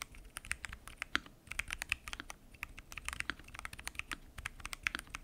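Continuous typing on a full-size mechanical keyboard with pink and mint PBT keycaps, lubed switches and a clear acrylic case. Fingertips tap the keys in a quick, steady stream of short, dry clicks with a bright, clacky tone and almost no ring after each press.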